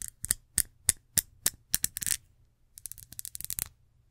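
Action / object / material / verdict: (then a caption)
tap / small ridged glass perfume bottle / glass / none. Long nails tap and scratch along the textured surface of a small, ridged, reddish glass perfume bottle with a gold cap, held close to the mic. The first two seconds bring a steady series of sharp, bright clicks. After a brief pause comes a quicker, softer run of scratchy taps with almost no ring.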